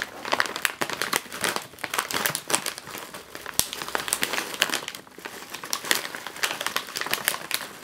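A full, sealed, foil-lined plastic chip bag is lifted off the table and turned in the hands, which crinkle and shake it. The result is dense, bright crinkling made of rapid, overlapping crackles with almost no low end, rising and falling in bursts, with one sharp snap partway through.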